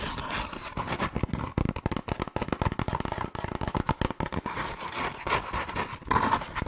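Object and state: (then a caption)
Molded paper pulp cone, scratched. A hollow, hand-sized cone of brown molded paper pulp or cardboard is rubbed and scratched with fingertips and long nails. Quick, dry scratching and tapping come in dense, rapid bursts with a papery midrange rasp and a low hollow thump. Each stroke dies away almost instantly, with no ring.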